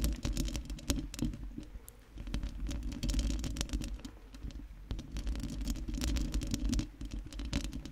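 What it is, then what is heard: Metal microphone grille. A round metal mesh microphone grille is scratched and tapped with long nails, giving a close, dense patter of scratchy clicks and taps over a deep low rumble. Many quick, short taps rise and fall in waves, with brief bright transients cutting through the mostly low-heavy sound.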